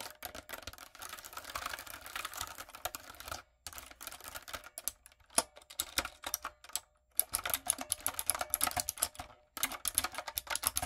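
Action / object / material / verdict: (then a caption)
tap / plastic mechanical keyboard / plastic / none. Fingertips and long acrylic nails type on a typewriter-style plastic mechanical keyboard with round plastic keycaps. Dense bursts of bright, sharp clicks and clacks come in quick runs, broken by brief pauses near 3.6, 7 and 9.5 seconds.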